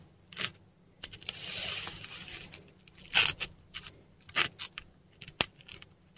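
A metal dip pen nib scratches across a textured Korean paper sheet while writing Devanagari script. Short, bright, irregular scratches and taps alternate with a longer soft, hissing stroke near the start, all dry with almost no ring and very little low end.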